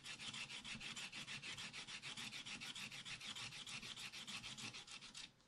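A wooden stylus scratches away the black wax coating of a spiral-bound scratch-art paper pad lying flat on a table, revealing a colourful cactus picture, while fingertips also brush shavings off the page. A fast, steady run of dry, bright rasping strokes, about three per second, fills the clip and fades slightly at the end.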